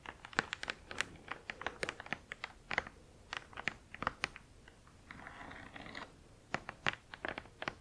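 Long acrylic nails tap and scratch along the lower edge of a large, flat, printed cardboard Spirograph box lying front face up on a blanket. Quick, dry, bright clicks come in an uneven rhythm, centred around 1.5 kHz with very little low end. Around the fifth second they give way to a soft, sustained scratching rustle before the tapping resumes.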